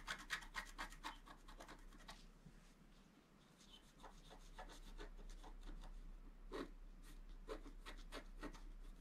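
A wooden stylus scratches a flat scratch art sheet, a black coating on paper, in small strokes. Quick, dry, bright scratches come in a rapid burst, fade to a softer, steady rasp, then return as spaced strokes.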